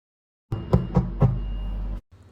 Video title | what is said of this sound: How I made my 80% hydration Sourdough bread | when the bread is cooked you should be able to tap the bottom and it'll sound hollow